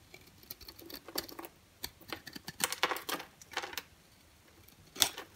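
A rectangular orange-and-white striped bar of dry, solid soap is held in the hand and scraped with a green-handled box cutter blade. The result is a string of short, bright, crisp scratching and crumbling bursts with almost no low end. Flakes and powder fall onto a white surface.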